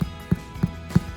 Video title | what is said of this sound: Irish Soda Bread Recipe -- Family Fun Pack Cooking | tap it on the bottom should sound hollow and that sounds hollow to me